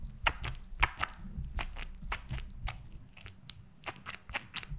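A purple glitter silicone gel squishy toy with pink bead spheres, held in both hands near and above the mic, is tapped with long nails. About sixteen quick, sharp clicks and soft crunchy taps sound over a low, muffled rumble of handling. The taps come at an uneven pace.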